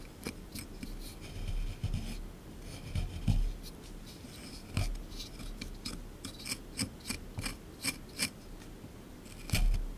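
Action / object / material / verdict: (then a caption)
scrape / plaster excavation block / plaster / none. A small chisel tool scrapes a solid plaster block from a dinosaur excavation kit, set in a tray. Gritty, rasping scrapes come in short, bright strokes over a low rumble, growing into a quick run of sharp scratches before one last louder scrape.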